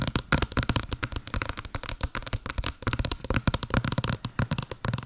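Long blue nails rapidly tap a small, hollow white cardboard box with a blue pattern held over the mic. About thirty quick, dry taps come in an uneven flurry, each with a hollow low thump and a bright, crisp click that stops at once with no ring.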